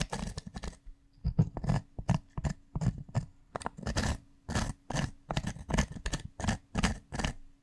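A bundle of sharpened wooden pencils scratches and taps its graphite tips against the rough, pitted surface of a solid, porous grey pumice stone resting on a desk. The result is a steady run of short, separate gritty bursts, each with a dull low thump underneath and a dry, bright scratchy rasp on top. Every burst dies away almost instantly, with no ring.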